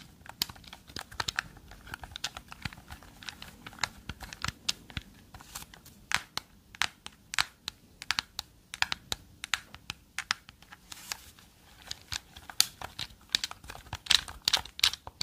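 Long nails tap a hand-sized, hollow black and yellow plastic gamepad held in both hands close to the mic and click its buttons. The result is a steady stream of quick, bright, dry clicks and taps with almost no ring or low end, over a faint background hiss.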